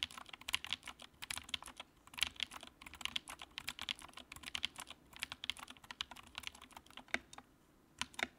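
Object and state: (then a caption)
Plastic mechanical keyboard. Fast fingertip typing with both hands on a compact white plastic mechanical keyboard with backlight produces a rapid stream of bright, crisp key clacks. Each click dies away almost instantly with very little low end, and the typing pauses briefly near the end before a few final keystrokes.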